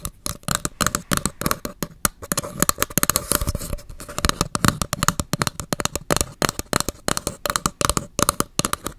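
An empty paper cup with a purple-pink print is held upside down near the microphone while long acrylic nails tap its flat bottom and side. Quick, dry, clicky taps follow each other in a steady rapid stream, each dying away almost instantly with a faint hollow tone around 1.1 kHz and a bright papery edge.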